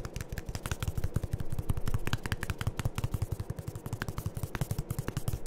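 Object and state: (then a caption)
Plastic lotion pump bottle. A medium white plastic Aveeno lotion pump bottle, hollow and seemingly partly full, is held in both hands and tapped with the fingertips. The taps come in a rapid, uneven series of dull, low, hollow thuds with short decay and faint bright clicks on top.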